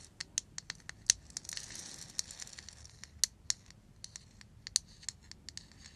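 Long nails tap and scratch the surface of a small, hollow, lacquered and painted wooden ball rattle held close. About two dozen sharp, bright clicks come in an uneven patter, with a brief scratchy swish early on. Each tap dies away almost instantly, leaving a thin, high, crisp texture with almost no low end.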